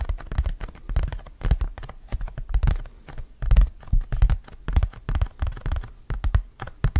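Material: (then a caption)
Cardboard. A round, thin, printed cardboard hand fan is held in both hands in front of a microphone and scratched and tapped with fingernails. The result is a steady run of quick, dry taps and scratchy brushes with a soft, thumpy low body. Each sound dies away almost at once, with faint bright flicks on the strongest strokes.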